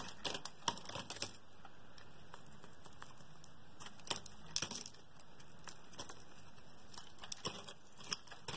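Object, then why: Bar of soap scraped with a metal blade. A metal utility blade scrapes and slices flakes and slabs off the face of a solid blue oval soap bar held in the hand. Quiet, steady scraping is broken by crisp, crackly cuts and sharp clicks with bright edges that die away almost at once.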